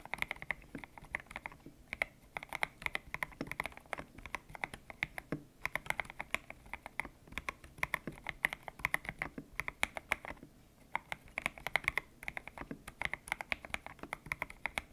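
Fingertips type on a white-cased mechanical keyboard with grey and pink PBT plastic keycaps, its hollow case resting on a desk mat. Quick, sharp key clicks run in steady bursts with a few brief pauses, bright and clacky with a strong tone around 2 kHz and almost no low end.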